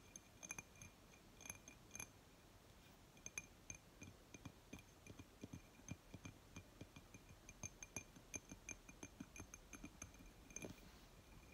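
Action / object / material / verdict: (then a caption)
tap / glass object / glass / none. Fingers tap and scratch on a glass object in a quiet, close recording. The result is a steady stream of light, quick clinks with a ringing tone near 2.4 kHz and bright upper overtones, each dying away almost at once over a soft, low rustle.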